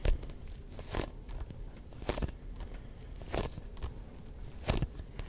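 Fingertips tap a neon yellow-green hollow rubber ball with a grooved surface, held in both hands. The taps are soft, dull and low, with a faint sticky crackle, and a few sharper bursts stand out with a brief bright edge. Each tap dies away almost at once.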